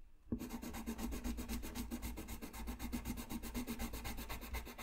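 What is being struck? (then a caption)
Colored pencil on a paper sheet. A colored-pencil tip held against a flat sheet of white drawing paper on a white desk scratches and rubs continuously while coloring. After a brief quiet start, fast, somewhat uneven back-and-forth strokes repeat about four times per second, each a dry, papery scratch with a low, steady hum underneath.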